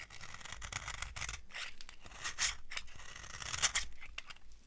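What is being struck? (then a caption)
Bar of soap cut with a metal knife. A metal knife carves a dry beige soap bar held in the palm, peeling off shavings. The cuts come as a steady run of dry, crunchy scraping strokes with bright, hissy detail, a few sharper crackles standing out near the middle and end.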